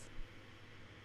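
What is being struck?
Nothing is struck.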